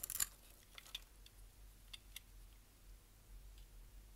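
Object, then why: Bar of soap. A metal utility knife blade scrapes and cuts the crosshatched, scored face of a palm-sized, solid, dry brown bar of soap held in one hand, as crumbly flakes pile up on a white surface. A quick burst of dry, bright crunching scrapes opens the clip, followed by sparser, quieter crisp scrapes and crackles over a faint low hum.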